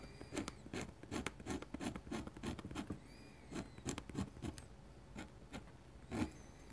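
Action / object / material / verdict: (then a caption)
scrape / metal pen nib on paper sheet / paper / none. A metal dip-pen nib scratches dense hatching lines across a large, flat white paper drawing sheet. The result is a quick run of short, dry rasping strokes with bright scratchy edges, broken by brief pauses.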